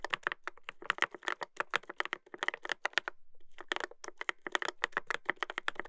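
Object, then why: Mechanical keyboard with plastic keycaps. A Dolphin 2021 mechanical keyboard with a brass plate and plastic keycaps is typed on continuously by fingertips. It gives a rapid stream of crisp, bright clacks with very short decay and a brief pause near the middle.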